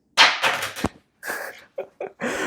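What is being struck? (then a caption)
Metal credit card. A metal American Express Platinum credit card, made of metal rather than plastic, is dropped. It gives bright, sharp clattering impacts in several bursts, much louder than a plastic card's drop and clearly metallic.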